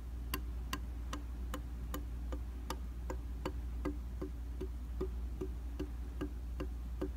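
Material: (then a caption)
Glass. Quick taps land on a round glass mirror in a white plastic frame, its solid flat surface struck with the rubber or silicone tips of a handheld tool. Crisp, bright ticks with a light ringing tone repeat at a steady pace over a constant low hum.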